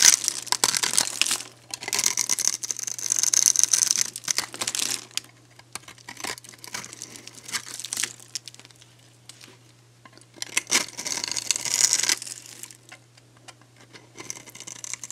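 A metal box-cutter blade repeatedly scrapes and carves thin flakes off the face of a dry, solid, hand-sized pink soap bar held between the fingers. Bright, crisp crackling and scraping comes in bursts separated by short quiet pauses, with almost no low end.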